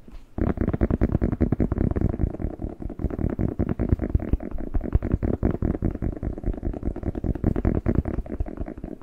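Fingertips rapidly tap and scratch the skin of a whole, fresh, hollow, hand-sized red bell pepper held in both hands. After a brief quiet start, a dense, continuous stream of soft, dull, hollow thuds runs throughout, mostly low in pitch with almost no bright content. Each tap is short and dry, with no ring.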